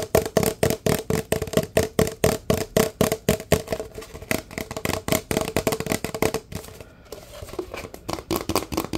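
Fingertips tap fast and hard on a large, empty, hollow paper fast-food cup with a red pattern while it is turned in the hands. The result is a rapid stream of dull, hollow knocks with a low-mid ring around 450 Hz. The tapping blurs into a softer flurry near the end before a few sharper taps return.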